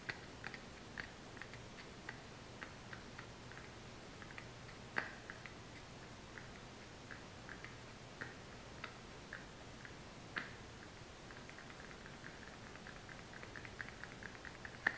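A small, hollow brown kraft cardboard supplement box is held up and tapped with long fingernails. The result is a quiet, irregular series of short, dry, bright clicks with a pitch near 1.8 kHz. A few sharper taps stand out, and a faint low hum runs underneath.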